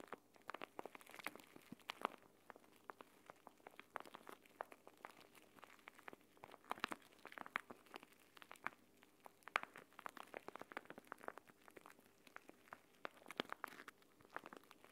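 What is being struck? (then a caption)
Plastic pouch filled with gel beads. A small, flat, clear plastic gel bead eye mask filled with green gel beads is held in both hands above a table while fingertips squeeze and rub it. The result is a steady stream of quiet, dry crinkles and fine crackling clicks as the plastic crinkles and the beads shift, with no low rumble beneath.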